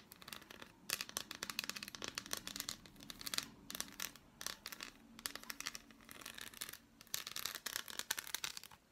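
Long black nails tap and scratch across the embossed squares of an unwrapped, hand-sized solid dark chocolate bar. The result is a fast, uneven run of dry, crisp clicks and scratchy rasps, bright and high with almost no low end. Bursts of activity are separated by brief quiet pauses.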